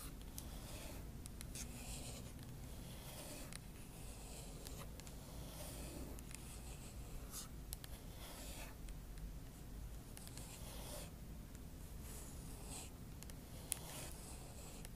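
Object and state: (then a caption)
Aluminum laptop palm rest scratched with nails. Long acrylic nail tips scratch and rub across the palm rest of a silver aluminum MacBook Pro. The result is quiet, dry scraping strokes with a bright hiss, plus a few faint sharp ticks, over a steady low background hum.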